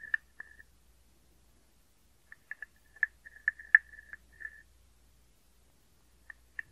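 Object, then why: Carved wooden frog guiro. A small hollow carved wooden frog guiro is scraped and tapped with a wooden stick along its ridged back. It gives quiet, dry, croaking rasps and short clicks with a woody tone around 1.7 kHz. The sounds come in irregular bursts, with a longer ratcheting scrape near the middle and silent pauses between.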